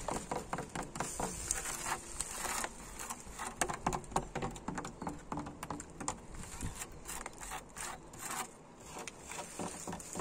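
Fingertips and nails tap and scratch old, solid wooden wall planks set vertically, their grainy surface weathered with peeling red paint. Quick, dry, dense clicks and taps come in irregular bursts, with brief rough scratching between them and almost no ring after each hit.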